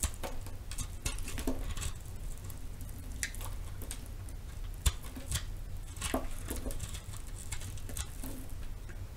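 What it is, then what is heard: Bar of soap being cut and scraped. A metal knife cuts and scrapes into the face of a palm-sized, solid round soap with pink and purple marbling, held in the hand. Soft, crisp scraping ticks and crackles patter steadily, with brief bright edges, over a constant low rumble.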